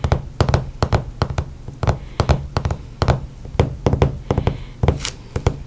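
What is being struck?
Books.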